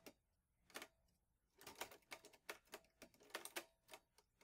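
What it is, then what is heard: Metal portable typewriter. Fingertips type steadily on the keys of a vintage teal metal Underwood Olivetti Lettera 22 portable typewriter with paper loaded. Sharp, bright key strikes land in an irregular run with brief quiet gaps between them. Each clack is crisp and dies away almost at once, with almost no low-end body.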